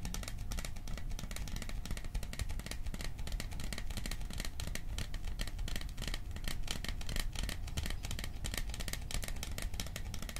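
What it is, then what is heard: Metal popcorn tin. A small, cylindrical, hollow metal popcorn tin printed with a "Silent Night" scene is held close and tapped fast with fingertips and nails. The result is a dense, steady stream of rapid taps with a low, hollow thump underneath and bright clicky ticks on top. Each tap dies away almost at once.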